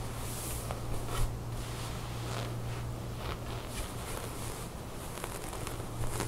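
Long nails scratch and rub a beige ribbed knit top with a corded drawstring lying on a table while hands gather the fabric. The result is a steady, soft rustling and scratching texture with a few sharper, brighter scrapes, all over a constant low hum.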